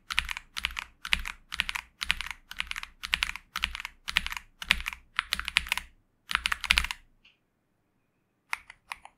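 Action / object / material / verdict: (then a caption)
tap / mechanical keyboard with plastic keycaps / plastic / none. Fingertips press and tap the plastic keys of a pink 65% Xinmeng M71 mechanical keyboard with TTC Superman switches and purple, black and pink keycaps, resting on a desk mat, mostly on the arrow and right-side keys. Quick clusters of bright, sharp clacks with a soft low thud come in steady bursts for about six seconds, then fall silent, and a few final taps follow near the end.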